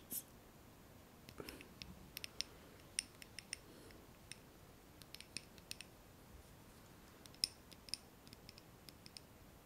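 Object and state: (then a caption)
Glass candle jar tapped with nails. A small lit glass candle jar filled with solid wax is held in both hands and tapped on its glass wall with long manicured nails. Sharp, bright clicks come in an irregular scattered series, each dying away almost instantly over a faint steady hiss.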